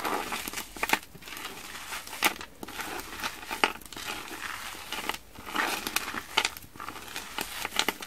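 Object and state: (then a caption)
Frozen foam sponge pieces being crushed. A mound of small, colorful, porous frozen foam sponge pieces on a wooden table is pressed down, squeezed and crushed with both hands and fingers. It makes a dense, bright crinkling and crackling, with sharp crunchy snaps standing out over a continuous rustle.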